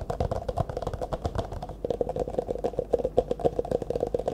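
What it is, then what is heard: Empty clear plastic cup. An empty, hollow, disposable clear plastic cup, held in both hands in front of the face, is tapped and scratched quickly with the fingertips and nails. Dull, rustling scratches give way to a fast run of short, hollow taps, each with a brief tone near 500 Hz that dies away almost at once.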